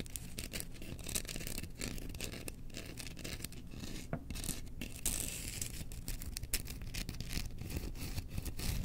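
Long nails scratch and tap along the handle of a long, solid bamboo spoon with a burned Chewbacca print, held up in the air. The result is a steady, dense rasping scratch broken by many quick, dry taps that die away almost at once, over a low rumble.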